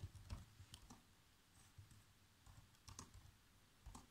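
Fingertips press the black plastic keys of a laptop keyboard, producing quiet, irregular typing taps. Each tap is a short, dull click with a brief bright edge that dies away almost instantly, over a low, soft rumble.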